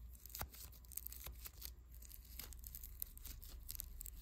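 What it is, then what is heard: Foam bead clay being rubbed. A small, soft, solid lump of unpackaged pink foam clay made of tiny polystyrene beads is rolled and rubbed between fingertips. It gives a quiet, steady crackling and crinkling with a tearing quality, broken by sharp bright snaps of the beads over a low, constant hum.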